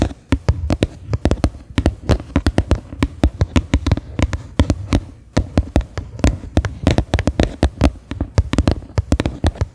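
Fingernails tap the flat bottom of a medium, faceted white plastic bowl that sits upside down, hollow and empty. A quick, uneven stream of short, dry taps follows, each with a hollow, low-weighted knock and almost no ring.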